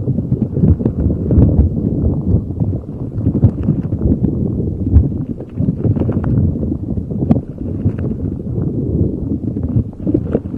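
A neon green soft rubber spiky puffer ball is rubbed and squeezed with fingers over a microphone. It makes a dense, muffled, low rumbling and scratching that runs on without pause for about ten seconds. A few brief, brighter pops and squeaks break through.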